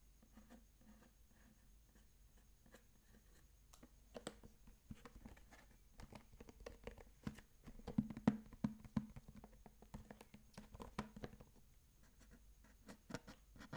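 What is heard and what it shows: A medium sage-green plastic bento box with a clear-green clip-on lid and cutlery stored inside, empty and hollow, is held in the hands and flipped over. Fingertips and short nails tap and scratch the lid, then the flat underside of the base. The result is quiet, dry, quickly decaying taps and soft scratching over a steady low hum.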